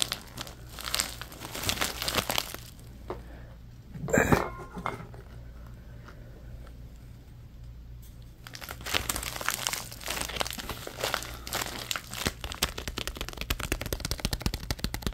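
A thin orange plastic bag is crumpled and twisted between the fingers, giving a dense, bright crinkling. A sharp louder crunch comes around the four-second mark, followed by a quieter lull of soft rustling. The crinkling then resumes steadily and more busily until the end.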